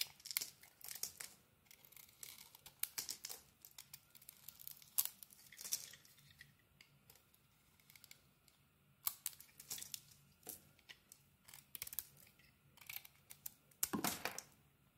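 A utility blade scrapes strips off a solid rectangular bar of soap with a neon green coating over a cream core. The quiet clip is a series of short, bright, crisp scraping and crinkling bursts with very little low end, each dying away almost instantly, with a louder, fuller stroke near the end.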